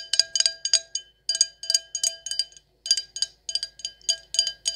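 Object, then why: Glass stemless wine glass. An empty, hollow stemless wine glass with gold lettering is tapped with long acrylic nails in quick clusters, about twenty sharp taps with short pauses between groups. Each tap is a bright, clicky glass tick with a brief high ring, over faint steady tones and almost no low end.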